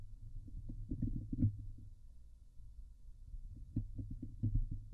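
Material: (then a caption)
Steel mesh. A fingernail scratches across the top and sides of a Blue Yeti microphone's hollow steel wire-mesh grille. Heard up close through the microphone itself, it makes a dense, muffled, low rumbling scrape with short thumping bursts and a faint hum, and almost no high end.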